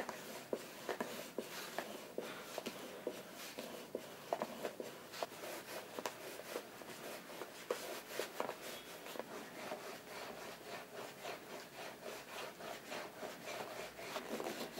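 A deer bone is pressed and slicked back and forth along the cordovan leather upper of an Alden chukka boot that has a shoe tree inside and is held on the lap. The result is a quiet, dry series of rubbing strokes with faint squeaks and small clicks, with almost no low end and no ring.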